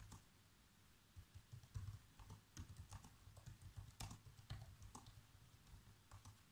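Fingertips with short nails type fast across the keys of a black plastic chiclet laptop keyboard. The result is a quiet, quick run of light taps, each a soft low thump with a bright, short click on top that dies away almost at once.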